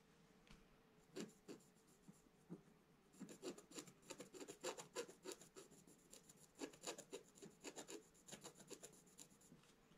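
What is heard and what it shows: A thin wooden stylus held in the fingers scratches lines into the black coating of a scratch-art page in a book lying flat on a table, while the other hand steadies the page. The result is a quiet run of short, dry rasping strokes with a bright, papery edge. The strokes come in uneven bursts, sparse at first and then denser.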